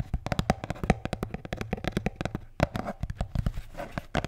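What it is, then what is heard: Beer can holder. A blue Bintang beer can holder is tapped and scratched in a rapid, uneven run of short, dull taps. Each tap has a soft, low body and a brief bright click on top, and the sound dies away almost at once.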